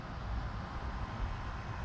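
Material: Nothing is struck.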